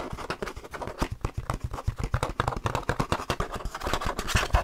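Fingers rub and scratch across the plastic and printed disc surface of an open plastic DVD case holding a disc. The result is a dense run of short, dry scratching and tapping strokes with a low thump under each stroke.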